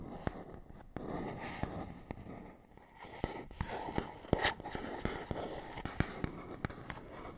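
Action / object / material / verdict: tap / small printed paperboard box / cardboard / none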